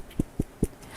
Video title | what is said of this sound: Video #2 | as the the crimps get larger the tone gets lower when you do the the ping test